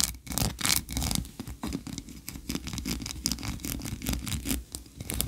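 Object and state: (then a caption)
Wax candle scratched with nails. Long nails scratch quickly across the ridges of a solid white ribbed wax tree-shaped candle. The result is a fast run of dry, bright scratching bursts with little ring after each stroke, over a faint low rumble.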